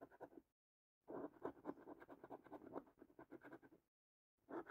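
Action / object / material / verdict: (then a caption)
scrape / paper scratch card with latex coating, scratched by a coin / latex coating / none. A coin held in the fingertips scratches the latex-coated squares of a thin cardboard paper scratch card held flat. Three bursts of quick, dry, rasping strokes sit mostly in the low-mid range, separated by two short silences. Each stroke stops abruptly with no ring.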